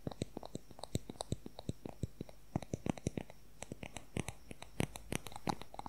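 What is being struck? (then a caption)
Wooden colored pencil. Fingernails tap rapidly along the shaft of a long wooden colored pencil, giving about forty quick, dry clicks with almost no ring. The taps come in an uneven, fast rhythm, with a woody low-mid body and occasional brighter ticks, over a quiet background.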